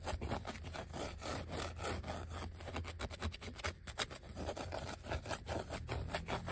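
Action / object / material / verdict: scrape / thin vinyl sticker sheet / vinyl / none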